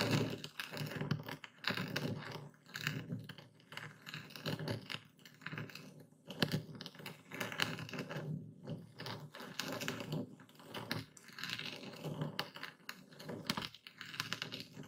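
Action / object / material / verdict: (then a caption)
scrape / coarse epsom salt crystals in a wooden bowl, crushed with a stone pestle / salt crystals / none. A hand-held dark speckled stone pestle crushes and grinds a full wooden bowl of coarse white epsom salt crystals. Dense, quiet crunching and crackling come in short bursts, with sharp, bright clicks over a low grinding rumble and almost no ring after each crunch.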